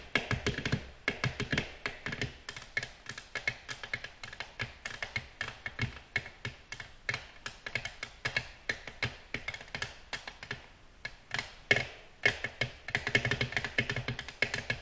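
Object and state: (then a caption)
Glass tabletop tapped with fingernails. Long natural nails from both hands tap tip-first, straight down, on a large, flat, solid, reflective black glass tabletop. The result is a steady, rapid stream of bright, crisp clicks that stop dead with almost no ring, centered around 2.2 kHz, with a brief lull near the 11-second mark before the tapping picks up again.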